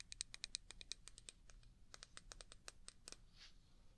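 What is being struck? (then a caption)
Small glass jar. A small, clear, hollow glass jar, apparently empty and held in one hand, is tapped and scratched by the long painted fingernails of the other hand. A rapid series of sharp, bright clicks and ticks ring briefly, mixed with faint scratchy scraping, and ends in a soft, hissy scrape.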